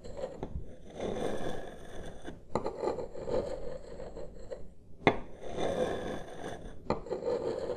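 Two wooden massage sticks, held one in each hand close up, slowly trace and scrape across a large solid wood-grain tabletop. The result is a soft, continuous low-mid rasping scrape with occasional sharp wooden clicks as the sticks catch or touch down.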